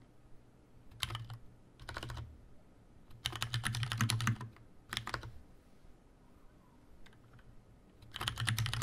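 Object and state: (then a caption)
Plastic mechanical keyboard. Fingertips type on a tenkeyless Leopold FC750R mechanical keyboard with Cherry brown switches, a plastic case and plastic keycaps in a hollow housing. Short bursts of quick keystrokes alternate with quiet pauses, with a longer run in the middle and another at the end. Each press gives a low, hollow thock with a bright, brief clack on top.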